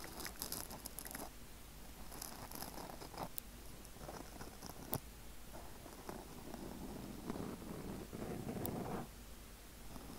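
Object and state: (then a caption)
Foam microphone windscreen being scratched. A small, soft, spongy black foam windscreen on a microphone is scratched and rubbed by the fingertips and short nails of both hands. The result is a close, irregular crunchy rustling and scratching, heavy in low rumble, with occasional sharp bright clicks.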